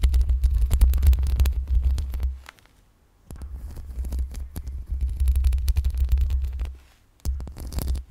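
Long pink acrylic nails scratch and brush the metal mesh grille of a black USB microphone with both hands. This makes a dense, deep, throbbing rumble centered low, with many quick scratchy strokes that flicker up into bright highs. Two short silent pauses break up the scratching.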